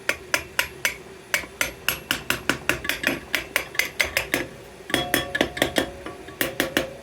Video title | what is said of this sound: #4l60e #automatictransmission | you hear it's it's down all the way